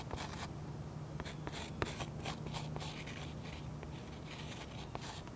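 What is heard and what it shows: Close-up of a metal pen tip scratching swirl lines into the sky area of a waxy oil pastel coating on a sketchbook page resting on a solid, flat surface. Soft, dry scratching strokes come in bright, hissy bursts, with a few sharp little ticks as the tip catches the wax. A steady low hum runs quietly underneath.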